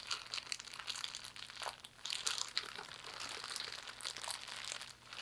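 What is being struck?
Thin plastic bag.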